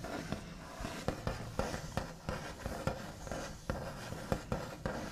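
The backs of the fingernails on both hands scratch and tap across a large, flat, solid wooden tabletop with a smooth white finish. The scratching is a quiet, low, continuous rustle, broken by about ten short, sharp taps that die away almost at once.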